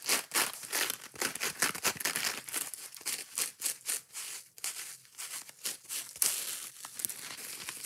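Long nails scratch the green abrasive scouring pad of a yellow foam kitchen sponge and pick at the foam, making fast, irregular bursts of dry, crinkly scraping. The sound is bright and hissy, with little low end and short gaps between the rough strokes.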